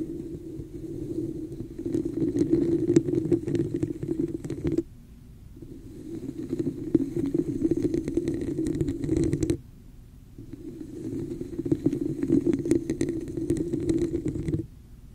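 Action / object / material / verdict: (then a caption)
scrape / textured plastic cup / plastic / none. Long nails from both hands tap and scratch the sides of a hollow, empty red plastic cup with a raised pattern, held over the microphone. Dense, rapid clicking and scraping rings with a muffled, boomy low-mid hollow tone. It comes in three bursts, each about five seconds, separated by brief near-silent pauses.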